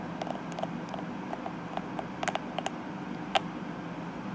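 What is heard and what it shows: Long nails and fingertips scratch and flick across the tips of the dense purple plastic bristles on a small plastic detangling hairbrush. The result is a series of short, crisp plastic clicks and ticks with bright edges, scattered over a faint, steady low background hum.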